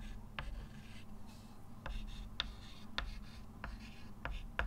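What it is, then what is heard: Chalk writing on a chalkboard. A hand writes with a white chalk stick on a flat, solid dark-grey chalkboard with a slate-like surface in a wooden frame, lying on a table. Soft scratching and rubbing strokes are broken by seven short, sharp, bright chalk taps over a steady low hum.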